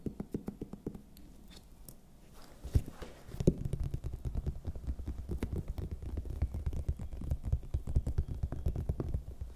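Long nails tap rhythmically on a large, hollow, raw red bell pepper held close to the microphone, giving a rapid stream of soft, dull, low thuds with very short decay. The tapping is quiet and sparse for the first couple of seconds, then becomes denser and slightly louder with a few sharper knocks, while pursed lips may add faint mouth sounds at times.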